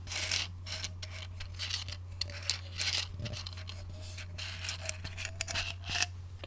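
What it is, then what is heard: Plastic pill bottle. A small white plastic medicine bottle with a pink label and white cap is held in one hand while fingertips and short nails scratch and tap its label and surface. Bright, dry scratching and quick taps come in bursts over a steady low hum.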